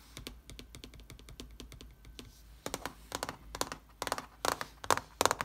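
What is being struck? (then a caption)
Laptop keyboard with plastic keys in an aluminium body. Fingertips with painted nails type on the plastic keys of a silver laptop with a solid aluminium body. Quick, light, dry clicks with a faint thin steady tone beneath them give way after about two and a half seconds to louder, brighter clacks in uneven bursts. Each keystroke stops almost instantly, with no ring.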